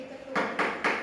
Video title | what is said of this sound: Pembelajaran IPAS tentang bunyi menggunakan Model pembelajaran Inquiry Learning, Rizki taufik PGSD | Menghasilkan bunyi dengan cara diketuk.